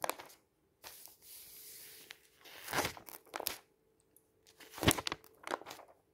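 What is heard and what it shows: A flat hand and fingertips rub across the thin printed pages of an open paper magazine lying on a table and turn them. Soft, dry rustling swishes alternate with louder crisp, crinkly bursts as each page is flipped, separated by brief quiet gaps.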